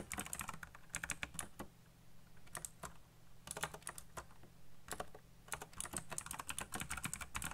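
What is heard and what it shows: Fingertips type fast on a backlit mechanical keyboard with black plastic keycaps, making bursts of sharp, bright clicks and clacks separated by brief pauses. A low steady hum sits underneath the keystrokes.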